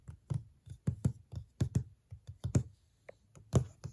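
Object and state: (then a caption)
Cardboard box. Long nails tap the flat lid of a large, closed, white printed cardboard box (Darling Lamp) in an uneven series. Each tap is a short, dull, low thud with a crisp, bright click on top, dying away almost at once. The taps vary in strength and spacing, some coming in quick pairs.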